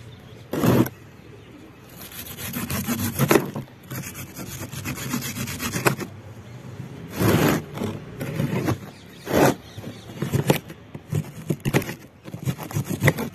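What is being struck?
Compressed sand block.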